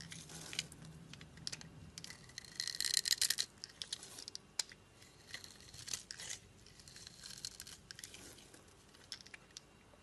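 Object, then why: Glycerin soap bar cut with a knife blade. A utility knife blade scrapes small cubes and flakes off a solid, translucent red-pink glycerin soap bar with a scored surface, held in the hand. The sound is quiet, crisp, bright, crackling scraping, with irregular ticks and short tearing rasps and almost no low end. It builds to a denser, louder burst around the third second before settling into softer, scattered scrapes.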